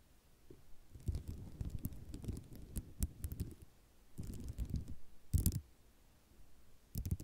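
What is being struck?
Ceramic mosaic tile sheet.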